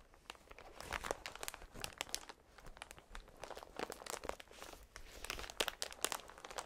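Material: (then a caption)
Plastic film. A strip of clear, air-filled plastic cushion packaging, held against the chest, is rubbed and pressed by a gloved hand's fingertips. It makes a steady stream of quiet, bright crinkling and crunching bursts, with short sharp crackles that die away almost at once.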